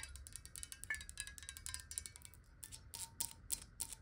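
A clear, square, hollow glass water bottle, partly filled with water, is tapped rapidly with long nails, including on its bottom edge. The result is a quick, uneven stream of sharp, bright clicks that die away almost instantly, with faint glassy ringing over a soft low rumble.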